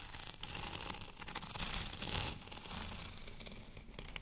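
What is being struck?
Bumpy plastic rolling pin.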